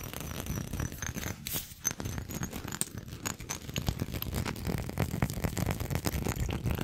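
Fingernails tap and scratch around the textured surface of a small faceted glass perfume bottle with a gold metal cap, held close to the microphone. The result is a dense, steady run of quick dry clicks and scraping taps with a low, close-up body and brief bright ticks, over a faint high steady tone.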